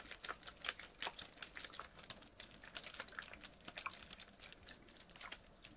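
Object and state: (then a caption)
Plastic water bottle. A small, clear PET Bezoya water bottle, full of water and held in one hand, is tapped and scratched with fingernails. It makes a quick, uneven run of quiet, bright clicks and scratchy ticks that stop dead with no ring and almost no low end.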